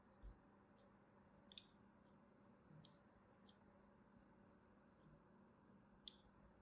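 A thin metal blade scores a crosshatch pattern into the surface of a solid white soap bar held in the hand. Scattered short, crisp, bright scratching clicks stand out over a quiet, steady low hum, each dying away almost at once.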